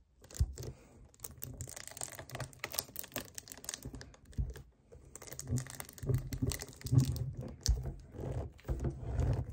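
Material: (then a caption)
Plastic. A hollow 1 L white plastic kefir jug standing upright on a table is gripped and tapped with fingernails on its front. The result is a dense run of quick, dull clicks and tapping, mixed with crinkly grip sounds. The clicks and tapping sit mostly in the low range and have very little ring after each tap.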